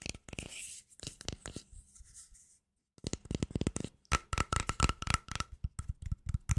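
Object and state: Plastic cream jar tapped with nails.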